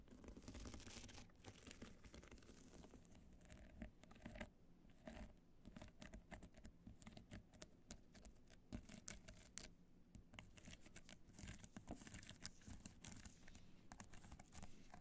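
Long nails scratch rapidly over the studs and along the top edge of a small, hollow, black hard-shell evening clutch studded with multicolored rhinestones. The result is a dense, steady stream of quiet, crisp, bright clicking and scraping with a hollow low undertone that continues throughout.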